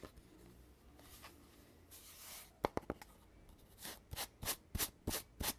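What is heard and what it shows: Fingertips and nails rub and scratch along a hollow red cardboard tube with metal end caps, working over its gold-rimmed cap and the tube surface. Quiet, soft rubbing gives way to a few sharp, quick scratches and then a steady run of short, bright, brushing strokes in a loose rhythm.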